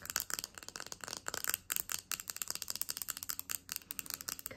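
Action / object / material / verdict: tap / epoxy resin coaster with glitter / epoxy resin / none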